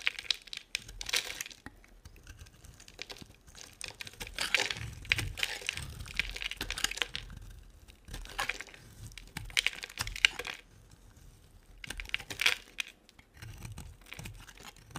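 A solid, dry orange-and-white striped bar of soap held in the hand is scraped with a metal blade, sending crumbly yellow shavings falling. Bursts of crisp, bright crunching and crackling scrapes come in repeated strokes, separated by short quiet gaps.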